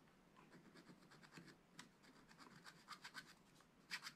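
A wooden stylus scratches lines near the top of a sheet on a flat, spiral-bound scratch-art pad of black-coated card. It makes a quiet series of short, dry, bright scratching strokes in a steady rhythm, with a few sharper, louder strokes toward the end.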